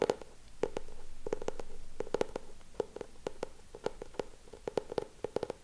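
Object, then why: Hardcover book with laminated board cover. Short nails tap and scratch on the laminated cover of a solid lilac hardcover notebook with a raised frame design, held upright. Quick, dry clicks with a pitch near 460 Hz come in irregular clusters over a soft scratching hiss, each tap dying away almost instantly.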